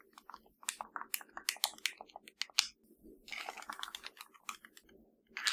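A hollow black plastic LG TV remote control has its number buttons tapped and scratched with long nails. Bright, sharp clicks come in quick irregular bursts, and a denser stretch of scratching follows near the end.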